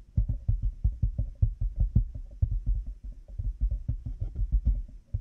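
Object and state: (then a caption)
Plastic headphone headband with cat ears. Fingertips and nails tap quickly on a black plastic headphone headband with cat-ear pieces resting on a binaural microphone. The result is a rapid, uneven run of short, dry, low thumps with almost no ring and a muffled, heartbeat-like throb.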